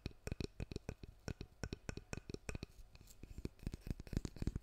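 Fingertips and nails tap and scratch along the wooden handle and back of a handheld, long-handled solid wood hairbrush with black bristles. The result is a quiet, rapid series of short, dry, low-pitched taps with almost no ring, mixed with faint scratching between them.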